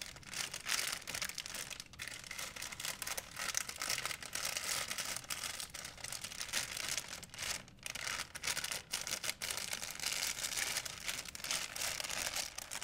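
An empty white printed plastic shopping bag is held flat and crinkled between fingertips. It makes a steady, dense, bright crinkling with quick crackles and almost no low end, holding a fairly even level throughout.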